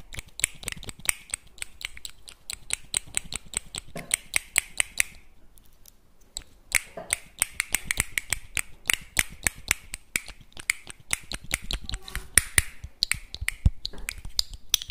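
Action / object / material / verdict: tap / small empty clam shells / shell / none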